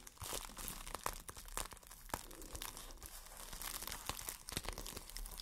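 A small, empty, crumpled clear plastic wrap bag is crinkled and squeezed in hands with long dark nails. It makes a steady, dense crackle with sharp, bright snaps and crunches throughout, over a faint low rumble.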